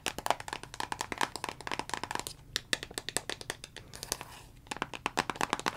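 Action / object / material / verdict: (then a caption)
tap / plastic vitamin bottle / plastic / none. Long fingernails tap rapidly on the label and body of a dark brown plastic Jamieson vitamin bottle with a green cap. The dozens of quick, dry clicks are bright and hollow, centered around 700 Hz with crisp high edges. Each one dies out almost instantly, with brief pauses between bursts.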